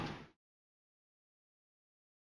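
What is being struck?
Nothing is struck.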